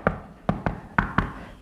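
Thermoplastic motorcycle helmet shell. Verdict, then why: Solid. Six knocks on the thermoplastic shell of an NJS ZX 1R GT motorcycle helmet give short, dull, low-pitched taps that die away almost at once. The shell sounds solid rather than hollow, so the material is judged sturdy and good enough for the price.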